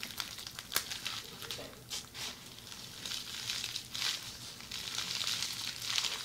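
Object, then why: Plastic bubble wrap. A roll of red plastic bubble wrap is held upright while fingers with long red nails squeeze, crinkle and scratch it. The result is a steady, bright crinkling and scratching with occasional sharp crackles, almost all high in pitch with very little low end.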